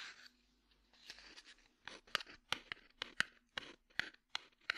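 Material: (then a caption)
Cardboard. A small, hollow red cardboard matchbox is held in the hand and tapped and scratched with the fingertips. Soft scratching gives way to a series of sharp, dry taps with a bright papery click and almost no ring.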